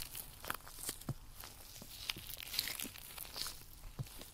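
With white nitrile rubber gloves on both hands, one gloved hand strokes and pulls at the other glove's surface and fingers, making a rubbery stretching and rubbing sound. Soft, crinkly friction runs throughout, broken by short, bright snaps and squeaks that fade quickly.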